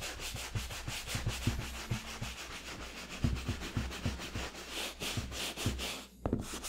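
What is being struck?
Leather and rubber sneaker.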